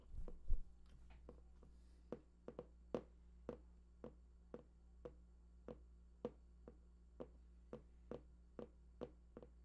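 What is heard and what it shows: Fingertips tap near the right edge of a large, hollow, printed cardboard PlayStation 4 box with unknown contents. After a brief muffled rustle and thump, about twenty short, dull, evenly spaced taps sound with almost no ring over a steady low hum.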